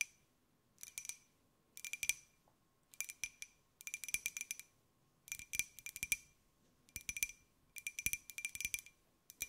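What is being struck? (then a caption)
Small glazed ceramic jar. A small, hollow white glazed ceramic jar with a pineapple print is held in the hands and tapped with long nails. Quick bursts of bright, clicky taps come in seven clusters separated by short pauses. The taps ring briefly with a faint high tone.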